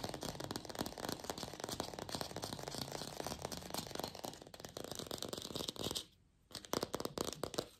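Long pink fingernails fast-tap a glossy red artificial apple, likely hollow plastic. A dense, steady stream of dry, bright clicking taps with almost no ring continues for about six seconds. After a brief silent pause, a few more scattered rapid taps follow.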